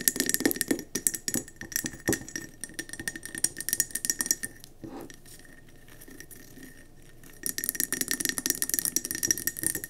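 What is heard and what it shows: Long nails tap fast on the sides of a round, speckled gold mercury glass candle jar filled with wax, resting on a table. Dense, bright clicks ring with a steady glassy tone. The tapping pauses into quiet for a few seconds in the middle, then resumes just as fast.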